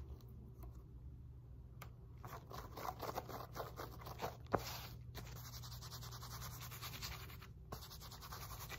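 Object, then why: Woven elastic fabric resistance band. A wide woven elastic fabric glute resistance band, flipped over on a lap, is scratched and rubbed with long nails and fingertips. Quiet, quick scratchy rasps come in uneven bursts, with one sharper tap near the middle, over a steady low hum.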